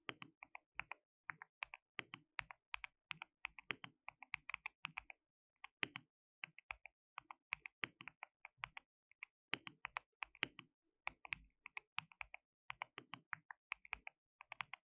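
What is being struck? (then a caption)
Plastic mechanical keyboard. Both hands type with their fingertips on a compact white plastic mechanical keyboard with pale keycaps and a hollow case, resting on a dark desk mat. About 78 short, sharp, bright key taps come in quick bursts with brief pauses between them. Each click dies away almost instantly and has very little low end.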